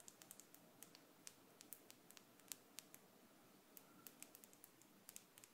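A small, thin, solid gold-tone metal hook earring is held up between the fingers and tapped and scratched with long, decorated acrylic nails. About 28 quiet, sharp, bright clicks ring off almost instantly, separated by a soft, faint scratchy hiss.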